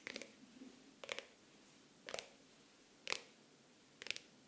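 Fingernails slowly scratch and rub the cover of a pink faux-leather hardcover planner with an embossed logo. Five short, crisp scratching bursts come about once a second, bright and dry with no ring, with near silence between them.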